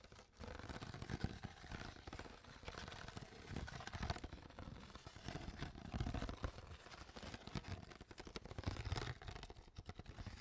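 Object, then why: Plastic water bottle. An empty, hollow clear PET water bottle is squeezed and tapped with long nails and fingertips. The result is a quiet, steady stream of crinkling, crunching plastic and soft taps, weighted toward low, hollow tones, with brief sharp clicks and no talking.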